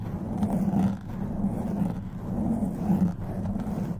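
Long white nails grip and scratch a black foam microphone windscreen. The result is a continuous, muffled, rumbling scratch centered in the low range around 200 Hz with almost no high end. It swells and dips in loudness over about four seconds.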